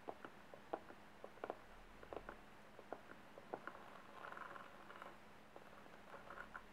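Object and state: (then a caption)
Fabric-covered box, tapped and scratched. Fingertips and nails tap and scratch across the lid of a small closed rectangular box covered in blue patterned silk brocade, with a gold metal clasp, likely hollow, resting on a table. Soft, quick muffled taps come in scattered bursts, some close together, with brief scratchy rustling between them. A faint low hum sits underneath.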